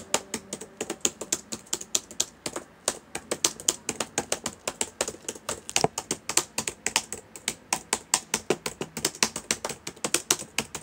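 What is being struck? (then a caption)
Plastic laptop keyboard. Fingertips of both hands type steadily on the plastic keys of a black laptop keyboard, giving about 64 quick, separate clicks over roughly eleven seconds. Each tap is short and dry with a bright, high click and almost no low end, dying away almost at once.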